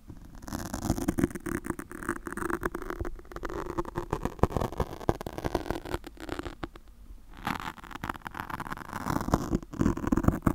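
Long pointed acrylic nails on both hands scratch and pinch the top of a black porous foam microphone windscreen, close up. Dense, muffled scratching and crackling rustle with many quick taps is heard, heavy in the low range with little brightness. A short quieter lull comes just before the seventh second.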